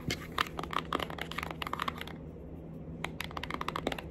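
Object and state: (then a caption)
Cardboard makeup palette. A small, flat, pink printed cardboard Winky Lux eyeshadow palette, a hollow case held in the hands, is tapped and scratched with long acrylic nails. Rapid, dry, crisp clicks and scratchy taps come in clusters, pause briefly past the middle, then resume. A faint low hum sits underneath throughout.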